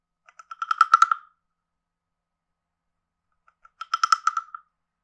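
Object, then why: Carved hollow wooden frog guiro played with a wooden stick. A stick taps a hand-sized, carved, hollow wooden frog guiro with a ridged back in two quick runs of short, dry knocks separated by a pause. Each tap gives a clipped, hollow wooden tone centred around 1.3 kHz with a bright click on top, and it dies away almost at once.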